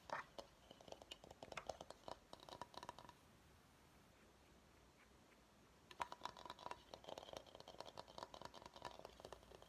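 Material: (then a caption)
Bamboo. Fingertips and short nails tap quickly on the outer side of a large, hollow, empty bamboo salad bowl held upside down. Clusters of light, dry taps with a hollow tone around 970 Hz stop almost immediately after each strike. The tapping runs for about three seconds, pauses into near silence, then resumes around six seconds and continues to the end.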